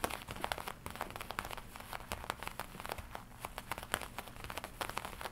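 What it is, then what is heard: Leather jacket. Fingertips and long nails tap and scratch the black leather chest of a worn black and red studded leather biker jacket. Quick, dry taps with a bright, crinkly edge follow one another closely for the whole clip, each dying away almost at once over a faint, steady low rumble.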